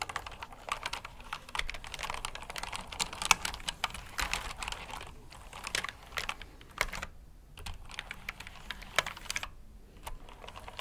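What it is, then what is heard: Plastic mechanical keyboard typing. Fingertips type on a black backlit mechanical keyboard with plastic keycaps resting on a cloth surface. Quick, dry, bright clicks and clacks come in uneven bursts with short pauses. Each keystroke dies away almost instantly.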